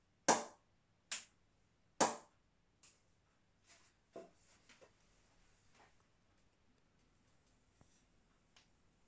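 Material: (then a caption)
Willow. An M&H 2.9 willow cricket bat from 2020 gets a ping test, its face struck three times in about two seconds with sharp, bright cracks that fade within a fraction of a second. A few much fainter taps follow over the rest of the clip.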